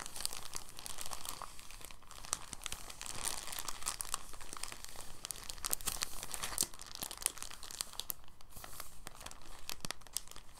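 A folded, clear, thin soft plastic bag is squeezed and unfolded by the fingertips. It gives off a steady stream of soft, bright crinkling and crackling with quick, sharp snaps, at an even, quiet level throughout.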